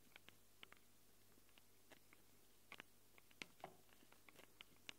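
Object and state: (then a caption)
Nails scratching and tapping metal recorder mic capsules. Long acrylic nails scratch and tap the metal mic capsules of a small black handheld Tascam recorder. About seventeen quiet, sharp, bright clicks and scrapes come at an irregular pace over a faint, steady low hum, each dying away almost instantly.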